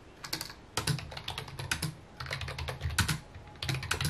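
Fingertips and short nails type on a full-size white plastic computer keyboard with mint keycaps resting on a wooden desk. Rapid, overlapping key taps give short bright clicks over a low, thumpy body. The bursts of typing come and go across the clip, with brief quieter gaps between them.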